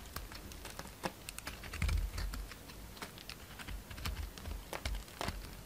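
A utility knife shaves a solid round soap with a gold glitter coating and a pale green core. Quick, crisp scraping and cutting ticks come in a rapid run, like keyboard taps, over a soft low rumble. A fuller low thud lands near the two-second mark.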